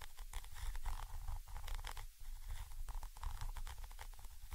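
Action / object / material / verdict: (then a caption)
scrape / metal mesh microphone grille / metal mesh / none. A thin orange stick, held vertically, scratches the metal mesh grille of a Zoom H5 X/Y microphone capsule. The result is a continuous, close scratching with a heavy low rumble around 70 Hz and quick, bright rasping streaks that rise and fall without pause.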